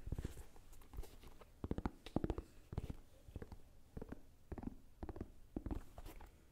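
Fingertips and nails tap and scratch a single hollow, empty blue and white low-top sneaker held in both hands, first on its white rubber sole and then on its blue suede or canvas upper. The taps come in quick clusters of short, dull, low knocks that die away almost at once, with soft scratching between them.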